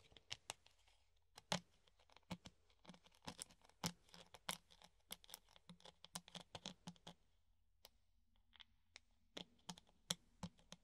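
A hollow clear plastic funnel held in both hands is tapped with the nails on its rim and cone, giving dozens of quick, dry, bright clicks in irregular bursts. Each tap dies away almost instantly, with a faint low hollow tone under some of them.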